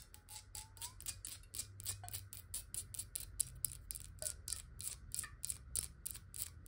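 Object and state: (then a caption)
Glass water bottle. Long nails tap quickly on the sides and base of a clear square glass bottle filled with water, producing a fast, steady stream of crisp, bright clicks. Each tap is short with almost no ring, and a faint low hum sits underneath throughout.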